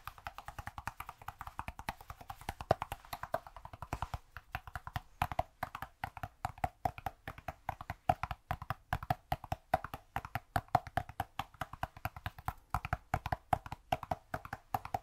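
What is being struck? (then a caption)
Cork cube. A cork cube is tapped over and over in a quick, uneven stream of short, dry knocks. Each tap is hollow and woody with a tone around 660 Hz and dies away almost instantly, with some taps louder than others.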